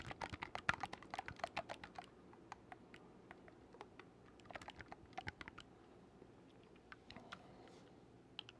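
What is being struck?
Wooden oboe with metal keys.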